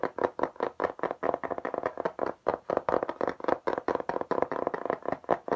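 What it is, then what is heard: Textured plastic tablet case. Rapid fingertip and nail tapping across a beige embossed textured plastic tablet case, a hard flat panel held up in front of the face. Many quick, dry, mid-pitched taps follow one another in a dense, uneven stream, each dying away almost instantly.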